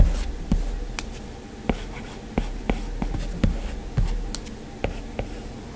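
A plastic-tipped Apple Pencil held in the fingers taps and strokes across the large flat glass touchscreen of an iPad in a white frame while drawing. Sharp, dry clicks with very short ring land at irregular intervals over a soft, low scratching hiss from the strokes.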